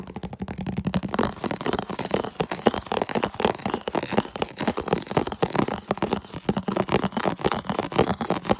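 Fingers rapidly tap and scratch the walls of a medium, hollow, empty, translucent red plastic food container held up close. The result is a dense, fast stream of dry, short clicks and crinkly scrapes with a hollow low-mid tone around 220 Hz. There is almost no ring after each hit.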